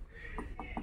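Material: Iron.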